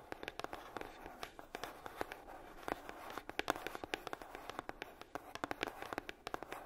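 Long nails tap rapidly on the lid of a hollow red heart-shaped box, likely made of coated cardboard. About forty crisp, dry taps sound out, each dying away almost instantly with a papery mid-range knock near 700 Hz and a slight crinkle.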